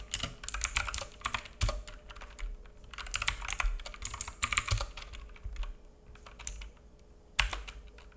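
A black full-size mechanical keyboard with plastic keycaps and a hollow case, resting on a wooden desk, is typed on with the fingertips of both hands. Rapid bursts of bright, clacky key taps with a hollow low thud come in short runs separated by brief pauses. A few heavier strikes land near 1.6, 4.7 and 7.4 seconds, over a faint steady hum.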